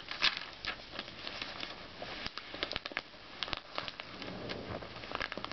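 Fingertips slide over the thin glossy paper pages of an open Self magazine lying on a red bedspread, lifting and turning them. A soft, bright swishing hiss is broken by many quick crinkles and crackles. The crisp paper snaps are short and dry, with almost no low end.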